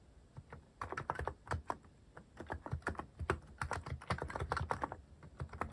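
Fingertips type steadily on a cream plastic-cased mechanical keyboard fitted with cat-themed plastic keycaps. Short, dry key clacks come in quick, uneven bursts with brief pauses, each pairing a soft low thock with a mid-pitched click that dies away almost at once.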